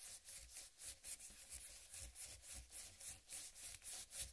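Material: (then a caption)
Melon rind. A large, whole, uncut watermelon with a green striped rind is rubbed with palms and fingers and slowly scratched with long nails. The result is a quiet series of bright, hissy scraping strokes, roughly three to four per second and unevenly spaced, with a soft low rumble underneath.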